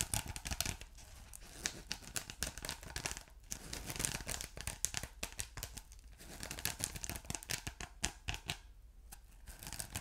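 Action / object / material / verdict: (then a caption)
scrape / ridged polyethylene foam block / polyethylene foam / none. A ridged blue polyethylene foam block with a glittery texture, soft and solid, is scratched and pressed by fingertips and short nails. The result is a dense stream of quick, dry scratching and crinkly tearing sounds with bright high hiss and a low rumble underneath, each stroke stopping almost instantly.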